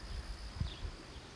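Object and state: Nothing is struck.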